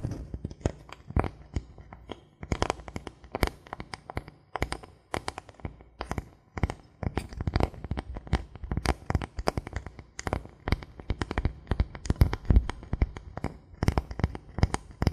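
Fingertips and nails tap quickly across the face and edge of a thin solid bamboo board held upright. The result is a dense, irregular run of short, dry clicks and soft knocks with a low, hollow thump beneath them. Each tap dies away almost at once, with bright tips on the sharper nail strikes.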